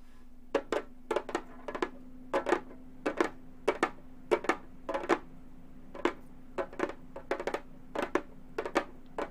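Long gold metal finger claws tap quickly on a hollow, round Remo frame drum with a synthetic head. The taps come in uneven pairs and small clusters, each a sharp, dry click with a bright edge and a brief hollow tone, with almost no ring. A steady low hum sits beneath the taps throughout.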